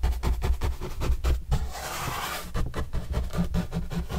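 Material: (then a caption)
Cardboard. Paintbrush bristles are rubbed over a large, flat, white printed corrugated cardboard box panel with green edges, held in hand. A quick series of dull, low, thumping brush strokes gives way to a smoother, airy sweep in the middle, then the rhythmic scratchy strokes return with a faint low hum.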